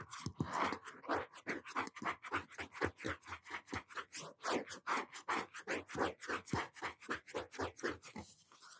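A medium-size blue hardcover notebook, its cardboard cover wrapped in cloth or paper, is held upright in both hands while fingertips and short nails tap and scratch the front cover. The result is a quick, steady run of soft, dry taps and scratchy strokes with a papery midrange and bright edges, each stroke dying away almost at once.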